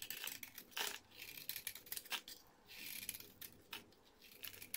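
A hand-sized, solid rectangular orange bar soap with an embossed logo is held in the fingers and shaved with a blade into curled flakes. The result is a quiet, irregular series of bright, crisp scraping and scratching strokes, each short and dry with almost no ring, separated by brief soft pauses.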